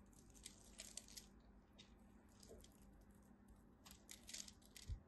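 A blade scrapes across the scored face of a partly carved solid red soap bar with white stripes, and small cubes of the dry soap break off with bright, crisp crunching and scratching. The sound comes in short clustered bursts over a low steady hum, with a brief low thump near the end.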